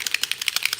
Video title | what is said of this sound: Happy World Card Makers Day! | you want to shake it until you hear the ball